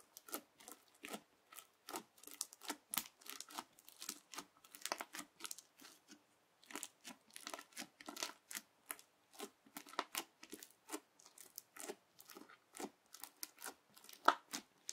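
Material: Slime, plastic beads.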